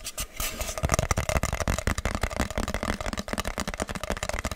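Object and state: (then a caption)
Cardboard box. A hollow, medium-sized plain brown kraft cardboard box held in the hands is tapped and scratched with fingertips and nails. Rapid, dull, papery taps with a low thump blend with dry scratching, and each tap dies away almost at once.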